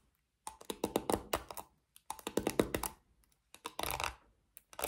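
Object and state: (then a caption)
Plastic paddle hairbrush. Long nails scratch and flick the black plastic pins of a small pink plastic paddle hairbrush. Quick, dry clicks come in irregular bursts separated by short pauses. The last burst blurs into a denser, bright scratchy rasp before a few final flicks.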